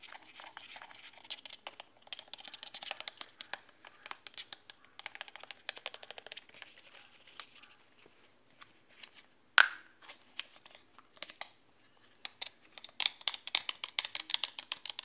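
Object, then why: Plastic shampoo bottle with plastic cap. Fingertips and nails tap and scratch the large, white, hollow plastic cap of a full-looking plastic shampoo bottle filled with blue-green liquid. Quiet, bright, dry clicks and scratchy rustles come in quick bursts with almost no low end and no ring. One sharper, louder snap stands out a little past the midpoint.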